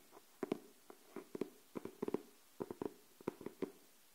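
Long nails tap and scratch on a pink cardboard hardcover paper notebook, moving from the cover to the spine and the page edge. The result is a series of quiet, dry, hollow taps with a low-mid knock, falling in uneven pairs and clusters with almost no ring between them.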